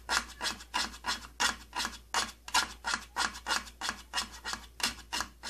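Fingernails scratch and rub the purple plastic side panel of an opened plastic tattoo kit case. About 17 quick, bright, raspy strokes follow one another in a steady back-and-forth rhythm, each a short dry scrape with no ring.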